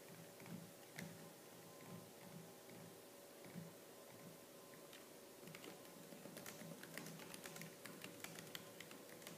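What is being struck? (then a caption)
Plastic laptop keyboard. Fingertips with purple-painted nails type fast and hard on the black plastic keys of a laptop keyboard. Soft, muffled key thumps in the first half give way to a denser run of sharp, bright clicks, with a steady low hum underneath throughout.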